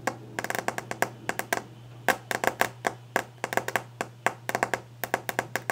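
Long nails and fingertips tap fast and hard on the solid, glossy top of a varnished wooden desk. Twenty-nine sharp, clicky taps land in uneven bursts, each dying away almost at once with a woody ring around 690 Hz and bright nail edges. A steady low hum runs underneath throughout.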